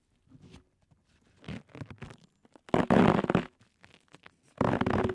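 Both hands cup, rub and scratch, with short fingertips, blue cohesive flex grip tape wrapped around the hollow metal mesh head of a Blue Yeti microphone. The result is uneven bursts of dull, muffled rubbing and crackly scratching with a low, rumbly body. Two longer, louder bursts stand out near the middle and at the end.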